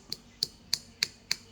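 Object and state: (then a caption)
Fake porcupine bezoar, hard compacted shell. A fake porcupine bezoar, whose compressed and tightened shell makes its skin very hard, is knocked five times at an even pace. Each knock is a short, sharp, high click with almost no ring, showing the hard, compacted surface of the imitation. A real bezoar is hard but slightly supple by contrast.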